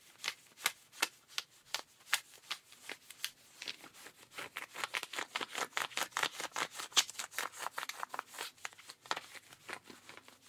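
A rubber-gloved hand scratches the back pocket and seat fabric of blue denim jeans. About thirty-three short, dry, bright scratching strokes come in an uneven rhythm, quickening and growing denser in the middle, with no low end and each stroke stopping almost instantly.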